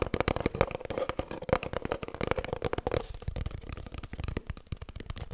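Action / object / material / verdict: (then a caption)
tap / cardboard kitchen roll tube / cardboard / none. Long nails tap rapidly on an empty, hollow cardboard kitchen roll tube held horizontally, making a quick, steady stream of short, dry clicks. For the first three seconds the taps carry a faint hollow ring around 540 Hz, then they continue as lighter, drier ticks.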